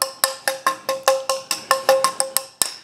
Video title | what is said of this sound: Second Hand Shotgun? Hot Tips | see how that sounds dead there's no ring to it all right so that means that one of our ribs is loose